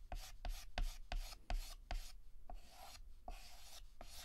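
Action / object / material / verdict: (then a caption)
scrape / chalk stick on a slate chalkboard / chalk / none. Fingertips hold a yellow chalk stick and shade a petal on a flat, solid black chalkboard with rapid short back-and-forth scratches. About nine quick, scratchy strokes are heard, each a bright, gritty rasp with a brief tap at its start, repeating at a fairly steady pace.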